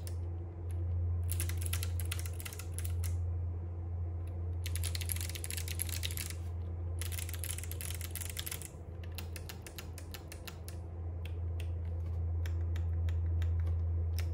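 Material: Plastic.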